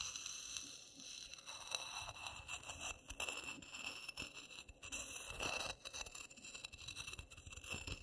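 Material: Coffee granules.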